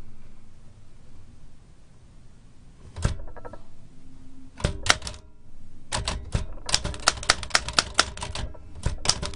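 A large black-enamelled metal L.C. Smith & Corona typewriter with round glass-topped keys, a hollow mechanical body and paper loaded is typed on with long-nailed fingertips. After a quiet hiss, a few isolated clacks give way to a rapid run of sharp, bright typebar strikes against the platen with short metallic ringing.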